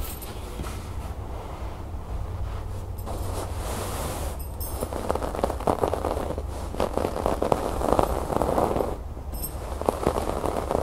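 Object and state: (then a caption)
Embroidered fabric cushion. Long natural nails scratch and tap across the brown cord embroidery, stitched in swirl patterns, on the cream fabric cover of a soft, stuffed cushion. The result is a dense, continuous scratchy rustle centred in the low mids, with quick soft taps and brief brighter scrapes over a steady low rumble.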